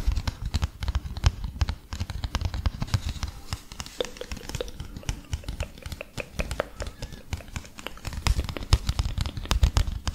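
A small folded printed paper leaflet is rubbed and crinkled with the fingertips close to the mic. A steady run of soft, dense crackles and quick dry ticks sits over a low, muffled rumble of handling that swells near the end.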